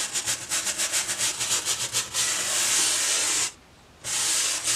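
A boar-bristle hair brush, held by the handle, is brushed across the textured surface of a white foam sheet. Quick, rhythmic strokes make a bright, scratchy rubbing sound, then it becomes a steadier continuous hiss. After a brief pause, the brushing resumes.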